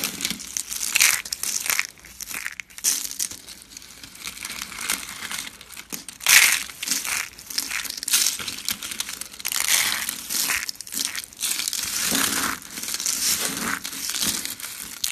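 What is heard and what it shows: Both hands grab handfuls of thin purple and coral dry soap shavings and flakes and crush and crumble them between the fingers. The result is a steady run of dry, bright crinkling and crunching with almost no low end, swelling into louder bursts as each handful is squeezed.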